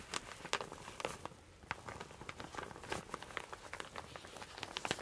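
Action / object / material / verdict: scrape / satin fabric shower cap / satin fabric / none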